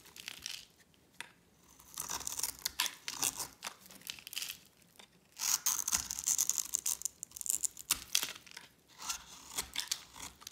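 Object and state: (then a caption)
Dry soap bar shaved with a blade. A hand-sized oval bar of dry grey soap, held in a hand with long red-painted nails, is shaved with a metal blade. Bright, dry scraping and crumbling bursts come in uneven runs as flakes break off, with brief pauses between strokes.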